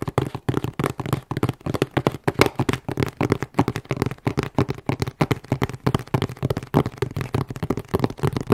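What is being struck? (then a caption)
Corrugated cardboard shipping box. A hollow, closed medium corrugated cardboard shipping box with a UN3481 label is held at various angles and tapped rapidly with long nails. About 50 quick, irregular taps sound as dry, hollow thuds with a low body, a midrange tone and almost no ring.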